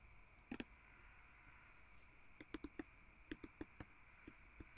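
Fingertips and nails tap and scratch a small glass perfume bottle with a glass stopper, held in both hands; the bottle is partly full of blue liquid and has a label. Quiet, sharp, dry clicks come in small irregular clusters, with no ring after each tap. A steady faint hiss runs underneath throughout.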